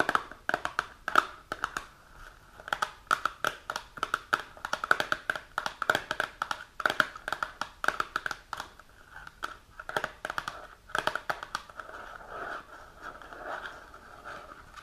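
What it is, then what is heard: Cardboard box tapped with fingernails. A small, hollow printed cardboard box of iron supplements, held in both hands, is tapped on its front face by long, pointed, polished natural nails. Quick, dry, close clicks come in uneven bursts with short pauses, each with a papery knock around 1.3 kHz and a bright tick on top. Toward the end the taps soften into a lighter rustle.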